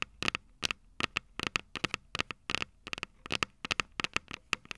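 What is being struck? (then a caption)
Small metal microphone capsules on a handheld recorder. Long purple nails tap and scratch the small, hollow, silver metal microphone capsules of a Tascam DR-05 recorder. About two dozen quick, dry clicks come in uneven bursts, each bright and metallic with a ringing tone near 2.6 kHz and almost no low end. Every click dies away almost instantly, with faint scratchy noise between them.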